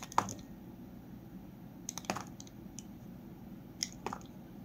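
A solid peach Palmolive bar soap, held in the hand with its paper box behind it, has thin slivers shaved off by a metal utility blade. The blade makes short, crisp scraping crunches across the soap, coming in scattered bursts over a quiet background.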